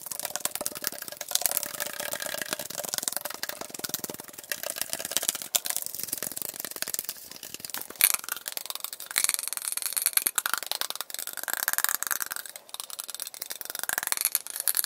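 A tall, hollow aluminum Arizona green tea can, held in both hands close to the mic, is tapped and scratched fast with fingertips and nails, played back at double speed. The result is a dense, unbroken stream of quick, bright, tinny clicks and scratchy rattles with no low end.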